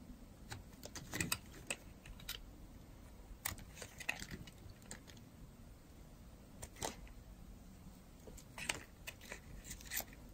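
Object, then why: Bar of soap cut with a metal blade. A metal blade carves slices from the edge of a solid, dry, yellow-and-white striped bar of soap. The result is a string of quiet, crisp, short scraping crunches and clicks, with brighter bursts here and there over a soft, low background.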